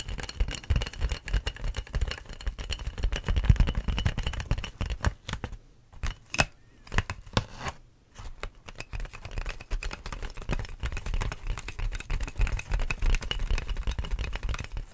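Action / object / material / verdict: scrape / inflated plastic air-column packaging / plastic / none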